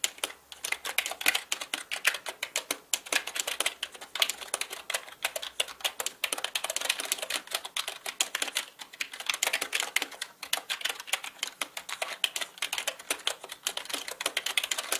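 Fingertips type rapidly on a black plastic mechanical computer keyboard with plastic keycaps, producing a fast, steady stream of sharp, bright clicks and clacks for the whole clip. Each tap is crisp and dies away almost instantly, with nearly no low-end thump, so the sound stays light and high.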